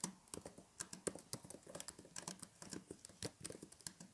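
Hollow plastic keys on a blue plastic keyboard or laptop in a case, resting on a table with fairy lights, are typed rapidly with the fingertips of both hands. The result is a quick, uneven run of short, dry, bright clicks and taps that die away almost instantly.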